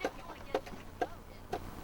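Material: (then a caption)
Metal. A metal probe pushed down through the mud taps four times against buried machinery at the U.S.S. Water Witch shipwreck site. Each tap is a short, bright metallic tick with no lingering ring, heard over a low steady background hum. The sound marks the object as metal rather than wood, shell or rock, likely serious steamer machinery rather than a can or drum, with what feels like concretion on it.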